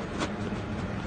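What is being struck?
Nothing is struck.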